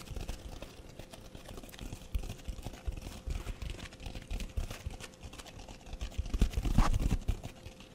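A red foam sponge with a green scouring top is held close to the microphone and scratched with fingernails, with some squeezing. The result is a dense, irregular run of soft, muffled scratching and rustling, heavy in the low end, with a faint steady tone underneath. It swells to its loudest near the end before easing off.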